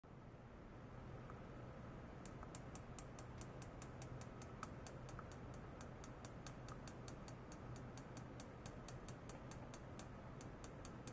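A medium rectangular stainless steel wire-mesh basket, hollow and empty, rests on a white foam mat with sensor cables clipped to its rim and is tapped over and over on the mesh and rim with a long white plastic rod. Quick, light ticks with bright upper sparkle ring out in a steady rhythm over a constant low hum.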